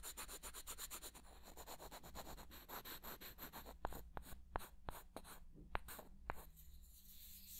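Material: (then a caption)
Wood. Small, solid light-wood blocks, held in both hands near the ear, are rubbed and scraped together in fast, even strokes that give a dry, bright, airy rasp. The strokes slow into a steadier scraping rhythm, then seven sharp wooden clicks stand out as the blocks knock together. The clip ends on a faint, soft rubbing.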